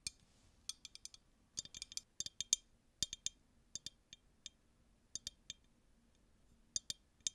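A clear, empty, hollow glass tumbler held in both hands is tapped with long nails. This produces a quiet, irregular series of sharp, bright clicks and clinks, some in quick clusters and others spaced apart by short pauses. Each tap dies away almost instantly, with very little ring.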